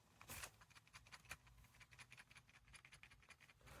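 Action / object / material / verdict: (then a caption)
shake / plastic headphone earpiece control piece / plastic / loose. The right earpiece of black-and-orange JLab Rewind 2 wireless retro headphones is shaken while held. Its plastic control piece for the virtual assistant and track buttons rattles in a steady run of quick, light, bright clicks. The piece is entirely loose, unlike the solid left side, and the constant rattle is annoying.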